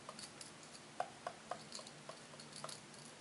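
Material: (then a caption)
Brass wire. Long red-painted nails scratch and flick the brass wire bristles of a small handheld brush set in a light wooden block. About ten quiet, sharp, dry ticks and flicks land at an uneven pace, each with a bright metallic edge and almost no ring, over a faint steady hiss.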